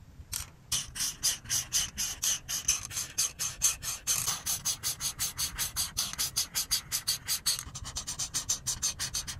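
The felt tip of a grey-bodied alcohol marker, held in a hand with long pink nails, rubs in short back-and-forth strokes across a flat printed paper colouring page with a cube-pattern design on a table. Dozens of quick, bright, hissy scratching strokes follow in a steady rhythm, each one short and dry with almost no low end.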